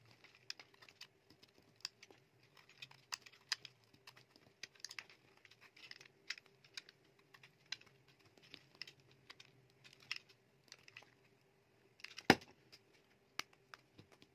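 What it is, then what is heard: Bar soap being carved. A palm-sized solid dry bar soap with a red outer layer and a pale core is shaved with a metal utility knife blade, and then the pieces are broken apart by the fingers. Quick, crisp scraping and crackling ticks keep coming over a faint steady hum, with one sharp, louder snap near the end.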